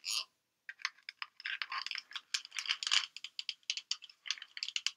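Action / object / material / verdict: shake / plastic pill bottle with pills / plastic / none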